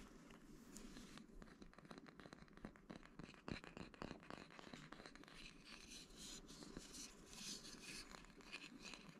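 A small, flat, light, hollow bamboo wood box or holder is held in the hands and tapped and scratched with fingertips and nails. The result is a quiet, steady stream of dry, crisp taps and bright scratching, with a faint hollow knock around 215 Hz underneath and almost no ring after each touch.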